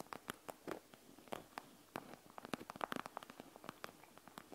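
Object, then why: Plastic eye mask filled with gel beads. Long acrylic nails tap and scratch across the clear plastic front of a flat panda-print eye mask filled with small gel beads, lying on a wooden table. The result is a quiet, irregular series of short, crisp clicks with a midrange body around 700 Hz and bright edges. Faint scratchy rustling fills the gaps between taps.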